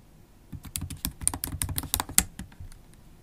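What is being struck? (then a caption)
Plastic laptop keys in a metal body. Long acrylic nails type steadily on a MacBook Pro keyboard with black plastic keycaps in an aluminium body. Quick, clicky taps come in a dense run, each with a sharp bright tick over a soft low thud and almost no ring. They start after a brief quiet moment and thin out toward the end.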